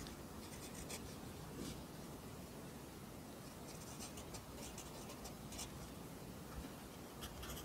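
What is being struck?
Graphite pencil on lined notebook paper.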